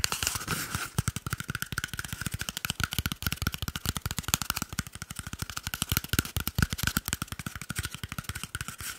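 A small, hollow, empty cardboard toilet paper tube is held close to the microphone and tapped and scratched rapidly with fingertips and short nails. The sound is a fast, continuous stream of dry, hollow thumps with a low body around 150 Hz, a resonant tone near 1.3 kHz, and bright scratchy noise on top. Each tap stops almost instantly, with no ring.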